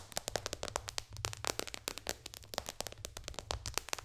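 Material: Glass.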